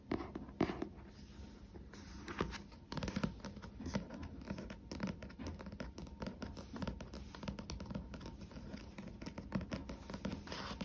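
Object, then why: Paperback book with glossy card cover. Dense soft fingertip taps and nail scratches on a paperback book's glossy cover, dull and dry.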